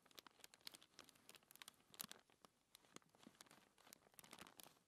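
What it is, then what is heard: Thin paper sheet being scratched. Fingertips with long nails rub and scratch a thin white paper sheet resting on a table. The result is a quiet, steady stream of dry, bright crinkling and scratching, with many short, sharp ticks that stop instantly and have almost no low end.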